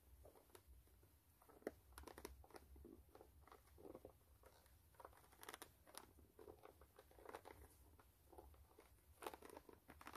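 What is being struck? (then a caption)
Rubber sneaker sole. Long manicured nails scratch and tap the brown textured rubber sole of a single white low-top canvas sneaker held upside down, its hollow shoe empty. The sound is quiet, dry crackly scraping punctuated by soft, short ticks that die away instantly, centered in the mid-range around 400 Hz.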